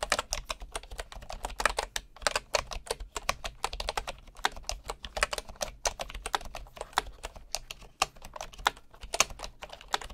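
Fingertips type steadily on a bamboo wood keyboard with wooden keys, producing a rapid, continuous stream of short, dry clicks. Each tap is bright and crisp with almost no ring, over a faint low background hum.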